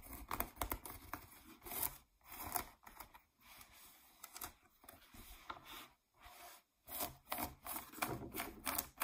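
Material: Denim.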